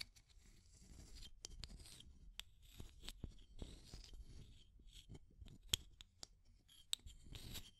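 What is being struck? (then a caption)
Small plastic tube container with aluminum screw lid. Long nails scratch the aluminum screw lid and the wall of a small clear plastic tube with pink contents. The result is a quiet, dry scratching with bright hissy bursts, a low rumble underneath, and a few sharp clicks that stand out.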